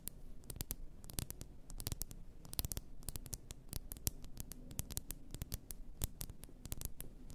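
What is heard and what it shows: Long nails tap rapidly and irregularly on the glass sides of an upright, full glass bath salt bottle. The result is a dense stream of short, bright clicks over a low, steady murmur.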